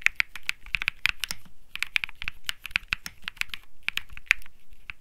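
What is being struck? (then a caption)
Mechanical keyboard with plastic keycaps. Fingertips type steadily on the plastic keycaps of a compact mechanical keyboard with an aluminum case and PC plate. The result is a rapid stream of short, crisp clicks centered around 2.5 kHz, with bright upper edges and almost no ring.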